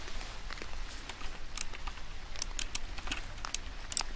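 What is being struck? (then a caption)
Mechanical keyboard with round plastic keycaps. A medium-sized retro typewriter-style mechanical keyboard with round cream plastic keycaps set in a black body under a chrome bar is held in one white-gloved hand while the other taps its keys with the end of a cigar. Quick, bright, dry clicks land irregularly over a soft, low background rumble, with a few sharper taps standing out.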